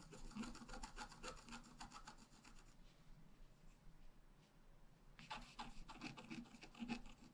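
A wooden stylus scratches the upper flower details into a flat black-coated scratch-art card, making quick, dry, rasping strokes. Dense bursts of scratching fill the first few seconds, fade to a soft hiss in the middle, then return in a second run of brighter strokes.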